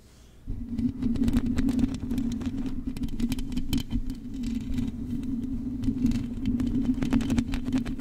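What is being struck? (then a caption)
Metal mesh microphone grille. Long acrylic nails and fingertips scratch across the hollow metal mesh grille of a silver microphone. After a brief quiet start, a dense, continuous scratching sets in, with rapid tapping clicks over a steady low tone near 266 Hz. It keeps going at an even level to the end.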